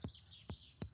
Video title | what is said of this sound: Stomach Churning Animal Cases - Try Not to Look Away Challenge - Bondi Vet Compilation | a very tinny sound which basically sounds like a bag which is the albumasum filled with gas it's so it sounds a little bit like a drum